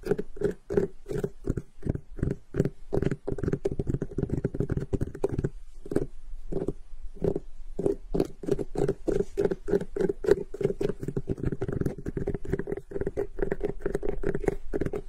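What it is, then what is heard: Cantaloupe melon. Long pink nails and fingertips tap and scratch over the netted rind of a large, solid, whole cantaloupe, with the hands spread wide and then closing in. A rapid run of short, dull, hollow taps carries a steady low resonance around 400 Hz, with soft scratching between them and a brief sparser stretch near the middle.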